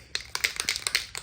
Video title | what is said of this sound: Prep & Paint The Engine Block - Part 2 (SBC 383 Stroker) | until you hear that ball moving freely, that's how you know you're good to start spraying